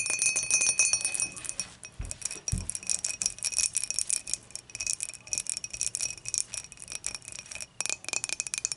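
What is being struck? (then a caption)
Glass beer mug. Long matte dark fingernails tap and scratch the wall of a clear, dimpled, empty glass beer mug with a handle, held tilted in both hands. Quick, irregular bright clicks and scratchy friction carry steady high ringing tones near 2.5 kHz. Two duller low knocks sound around the two-second mark.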